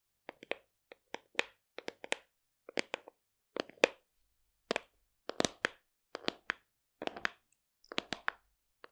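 Long decorated nails and fingertips tap the flat lid of a large, hollow black plastic supplement tub in quick clusters, about 25 taps over nine seconds. Each tap is a crisp, dry click with a hollow midrange tone and bright edges, dying away almost instantly, with short silences between bursts.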